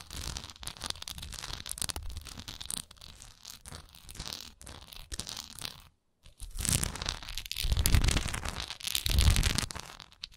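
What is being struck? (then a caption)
Wax pillar candle with raised relief. Long nails scratch and tap along the sides of a large solid wax pillar candle with a raised swirl relief, making dense, crinkly scratching with bright hiss and quick taps. After a brief silence near the middle, the scratching returns louder, with fuller, deeper thumps underneath.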